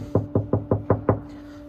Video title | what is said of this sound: BMW 1 Series Speaker Upgrade and Everything About It | this panel is not soundproof, so I'm going to knock on here and you'll be able to hear the difference